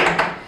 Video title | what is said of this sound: DOs & DON'Ts for Giving Speeches - Longer Version | Hollow, very loud. It's not a drum.